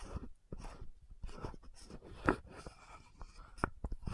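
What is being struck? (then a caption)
Frosted plastic lotion bottle with metal cap. Long nails tap and scratch the metallic gold cap of an orange-red frosted plastic lotion bottle. Quiet, close, dry taps and gritty scratching come in irregular bursts, with a few sharper clicks standing out. Each sound dies away almost at once.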